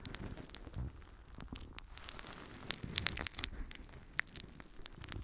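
A palm-sized, soft and light yellow porous natural sea sponge is held in one hand and scratched and squeezed with long painted nails. The result is a quiet, steady bright crackling rustle of irregular fine scratches, with a few sharper crisp clicks standing out near the middle.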